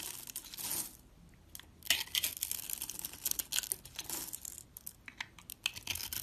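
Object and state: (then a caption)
Bar of soap being scraped and carved. A metal box-cutter blade scrapes a solid white soap bar with a blue mosaic-patterned edge that has been scored into small cubes. Bright, dry scraping and crumbly crunching come in irregular bursts as the soap cubes crumble off.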